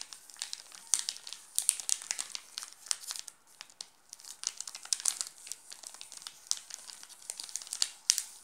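Fingertips scratch and rub the red plastic film wrapper of a Nestlé chocolate bar resting on a pink cloth, making it crinkle. Dense, bright, crisp crackles come in irregular bursts with almost no low end, easing briefly near the middle before picking up again.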